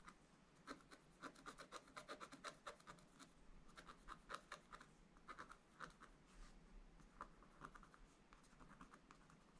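A wooden stylus scratches small strokes into the wax coating of a black scratch art page in a spiral book lying flat on a table. Quick, dry scratching strokes come in uneven bursts, each a short rasp with a bright edge over a faint low hum.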